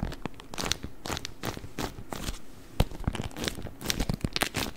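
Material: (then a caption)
Waxed cotton. A beeswax-coated cotton wrap, folded and rolled, is crinkled and squeezed with the fingers. Dense, stiff crinkling and crackling come in quick bursts, with sharp bright snaps over a soft, low rustle. Each crackle stops almost instantly, with no ring.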